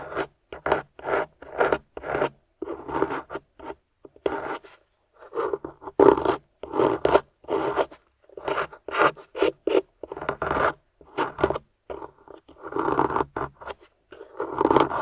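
A metal spatula tip scrapes and chips away at a solid grey plaster dig-kit block near yellow fossil pieces, close up. Short, dry rasping strokes come in quick bursts separated by brief pauses, with a gritty midrange tone centred around 450 Hz and almost no deep or bright content.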